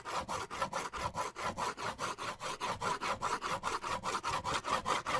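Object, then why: Paper sketch pad. A pen is drawn back and forth in long strokes across the surface of a white paper sketch pad held upright. It makes a steady, rhythmic rubbing, sawing-like scratch with a hissy tone centered near 1 kHz and some bright texture above. Each stroke swells and fades in a quick, even pulse.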